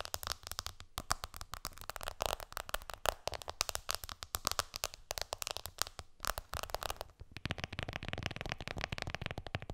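Long nails tap fast on the glass screen of an iPhone lying flat, then keep tapping as the phone is lifted slightly. Dense, rapid, clicky taps with bright edges and very short decay run throughout. After the lift near the end, the tapping turns softer and fuller.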